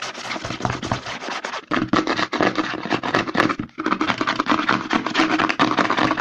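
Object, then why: Plastic lotion bottle. A white plastic CeraVe lotion bottle is held upside down while fingertips and short nails rapidly tap and scratch its front and back. A dense, fast run of hollow plastic clicks and scratchy scrapes continues throughout, with brief pauses near 1.7 and 3.7 seconds.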